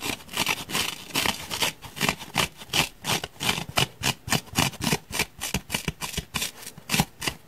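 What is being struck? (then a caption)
Grey foam block. Fingernails scratch and pick at a solid grey foam block with a heavily gouged surface. The result is a rapid, uneven series of short, bright, rasping bursts with a little low thump beneath, each ending almost immediately.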